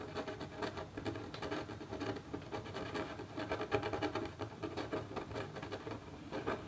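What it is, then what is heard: Metal stylus scratching a copper scratch art board. A metal stylus in a red holder makes small, repeated scratch strokes on a flat copper scratch art sheet near a bird's head. The result is a steady run of quick, dry scraping ticks with a midrange tone and a faint bright hiss, each stroke dying away almost at once.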